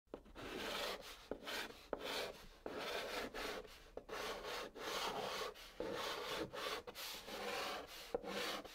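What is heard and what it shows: A white chalk stick held in the fingertips scratches and writes letters across the top of a large, flat, hollow brown cardboard box. The strokes come as a series of dry, gritty, scraping rubs with brief pauses between them. Some strokes begin with a sharp tap of the chalk, and each rub has a bright, hissy edge over a papery mid-range body.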